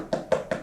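Three quick knocks on a mask horn built from wire and padding and covered in gummed paper tape, each giving a short, dry, mid-pitched tap that dies away almost at once. The knocking checks the horn's strength, and this solid, strong sound is the one every part of the horn should match.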